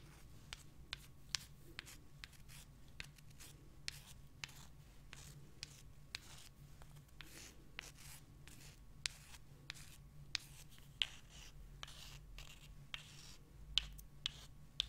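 Two small solid limestone rocks, one held in each hand, are rubbed together and scratched with long nails. The result is a quiet string of sharp, bright scratches and clicks that die away almost instantly, over a faint steady low hum.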